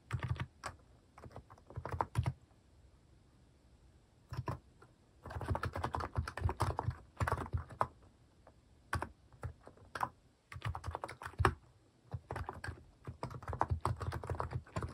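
Fingertips type in bursts on a compact Hanmumu mechanical keyboard with a white plastic case and cat-themed plastic keycaps. Quick runs of short, dry key taps with a deep, low thock are separated by brief pauses. Each keystroke dies away almost instantly.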